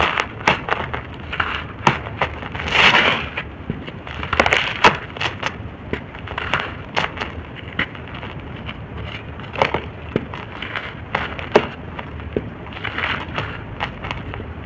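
Hands squeeze and crumble solid, fist-sized shapes of dry red soil, letting the powder pour out between the fingers. The sound is a steady run of dry, crunchy crackles and sharp bright snaps, with louder gritty rushes as chunks collapse.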